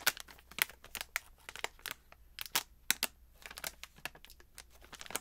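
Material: Plastic film.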